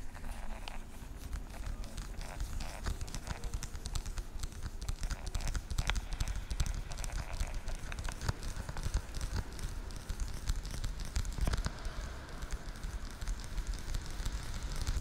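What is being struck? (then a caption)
Hollow plastic weekly pill organizer. Fingernails tap rapidly on the compartment lids of a translucent blue, hollow plastic weekly pill organizer held horizontally close to the mic. The result is a steady stream of quick, dense, clicky patters with a reverberant tail, and most of the energy sits in a low, hollow thump beneath faint crackly highs.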